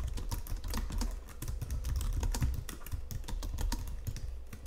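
Both hands type steadily on a white plastic Logitech full-size keyboard resting on marble, tapping and pressing the keys with fingertips and nails. A fast, continuous run of short plastic clicks and taps carries bright, crisp key transients over a soft low thump. Each keystroke dies away almost instantly.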